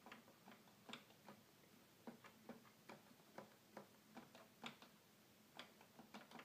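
Fingertips rapidly tap the keys of a hollow red plastic toy keyboard, making about a dozen short, dry plastic clicks. Each click carries a faint low tone near 234 Hz with bright edges and dies away almost at once, over a quiet background.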